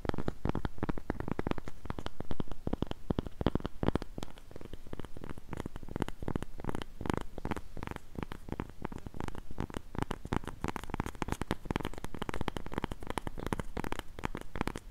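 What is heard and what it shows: Long pink nails scratch and tap the surface of a round, flat cork coaster held in both hands. The result is a dense, steady stream of quick, soft, dry taps and scratches, muffled and weighted toward low frequencies, with almost no ring after each hit.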